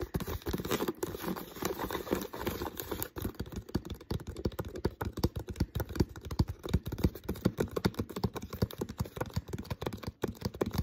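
Fingertips tap and scratch the thin plastic body near the neck of an empty, uncapped, hollow clear PET water bottle. The result is a dense, irregular run of quick, dull, hollow taps mixed with soft crinkly scratching, mostly low in tone with very little ring.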